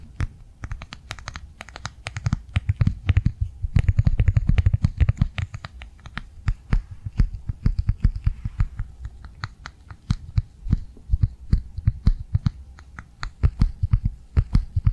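Long nails rapidly tap and scratch across the surface of a flat, blue, rectangular plastic cardholder held in both hands. The result is a dense, steady stream of quick, dry clicks over soft, low, thuddy scratching, with short bursts that swell louder and then ease off throughout.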